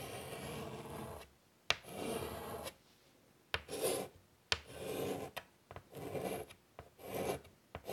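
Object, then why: Chalk on a wood-framed chalkboard. A hand draws with chalk on a large flat black chalkboard in a light wood frame lying on a table. Bursts of dry, rasping scratches, bright with high hiss, alternate with brief pauses. A few sharp ticks mark where the chalk meets the board between strokes.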